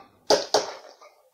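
A reassembled, licensed plastic Famicom game cartridge, with its board just cleaned, is shaken in different ways and gives a few short, dry plastic clacks with no loose rattling between them. Nothing is loose inside and the cartridge is fine.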